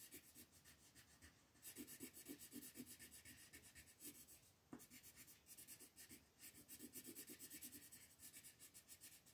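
A wooden colored pencil shades small leaves at the top edge of a flat printed paper coloring sheet lying on a table. Quiet, rapid rubbing strokes make a bright, scratchy hiss with soft low-mid pulses, broken by brief pauses and one sharper tick midway.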